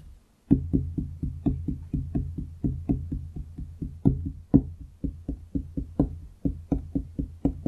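Fingertips and nails of both hands tap on a large solid wooden desk top, making about 27 dull, woody knocks in a quick, uneven rhythm. Each tap is short with little ring, heavy in the low range with a faint thin click on top, and a few land harder than the rest.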